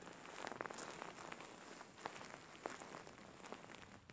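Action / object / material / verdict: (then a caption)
scrape / soft faux fur pillow / faux fur / none. Fingertips and nails scratch a large, soft-filled, grey faux fur pillow, producing a quiet, steady bed of soft rustling and crackling. Brief sharper scratches rise out of it, carrying a high, bright hiss with little low-end weight.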